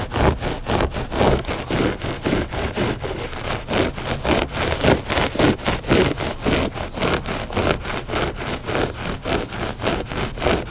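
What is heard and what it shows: Short fingernails scratch the pile of a flat gray loop-pile textile rug, solid and soft, in quick, steady back-and-forth strokes. Each stroke makes a dry, rustling scrape with a soft low thud underneath, and the sound pulses evenly throughout with no pauses.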